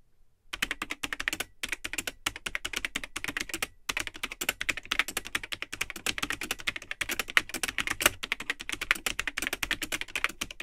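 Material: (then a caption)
Plastic. Fingertips type continuously on the built-in keyboard of a vintage Tandy 1000 HX all-in-one computer, with a cream plastic case and hollow, yellowed plastic keycaps. The result is a rapid stream of short, bright, hollow plastic clicks with almost no ring, interrupted by a few brief pauses in the first four seconds.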